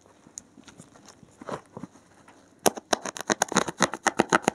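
A blue-gloved hand pokes a thin metal needle into the top edge of a thick, solid, porous block of dark grey foam and scratches along it. Faint, scattered scratching gives way after a couple of seconds to a louder, fast run of about fifteen crisp, dry scrapes with a bright, hissy edge and no ring.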